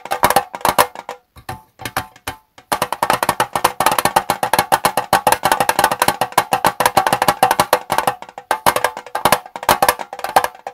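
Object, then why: Small metal tea tin. Fingertips tap rapidly on the gold metal lid and sides of a small, hollow Twinings tea tin standing on a desk. The result is a dense stream of short, dry, clicky taps with a hollow tinny tone centered around 1 kHz and almost no ring. A few sparse taps near the start give way to continuous quick tapping.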